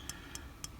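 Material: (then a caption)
Steel. The steel exhaust valve rocker arm on a Suzuki Quad Runner 250 engine is rocked against the valve stem after the valve clearance has been adjusted, giving three light, sharp metallic taps over a low background hum. The tapping shows the exhaust valve has play, twice that of the inlet valve, which is correct because the exhaust valve expands with heat.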